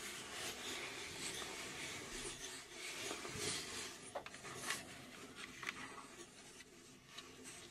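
Long nails scratch and tap the front panel and dial area of a hollow, laser-cut plywood puzzle safe cube. A soft, bright, hissy scratching runs throughout, broken by a few sharp, quick-fading taps in the second half.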